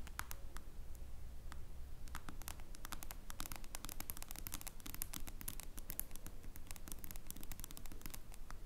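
Long acrylic nails tap and click on the glass screen of a small, solid smartphone lying face-up. Quick, sharp, bright clicks come in an uneven, rapid stream over a quiet, low steady hum. Each tap dies away almost instantly.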